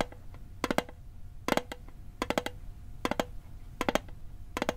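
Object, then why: Small metal mint tin. A small hollow metal Altoids mint tin, held over a microphone, is tapped with fingertips and nails in six short bursts of quick, light clicking taps. The taps are dry and tinny with a faint mid-pitched ring that dies away almost at once, over a low steady background rumble.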